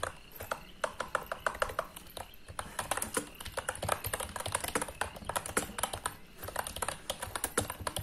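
Fingertips with short nails rapidly type on a white, full-size, retro-style wireless Rexus KM9 mechanical keyboard resting on a desk. It has round plastic typewriter-style keycaps and a hollow plastic case. The result is a fast, continuous stream of sharp, bright plastic clacks, each dying away almost instantly.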